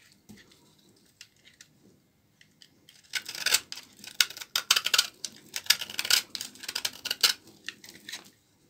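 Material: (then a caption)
Soap. A blade scrapes shavings off a small remaining piece of a solid, dry, old laundry soap bar held in the fingers. After a few seconds of faint, scattered clicks, a run of crisp, bright scraping strokes follows, each a short, dry rasp with almost no low end and no ring.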